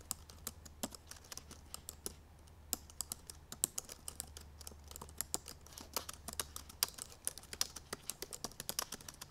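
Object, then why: Laptop keyboard with plastic keys. Long purple nails and fingertips type fast on the black plastic keys of a silver aluminum MacBook Pro laptop. A quick, steady stream of short, bright plastic clicks and taps is heard, each dying away almost instantly, over a faint low hum.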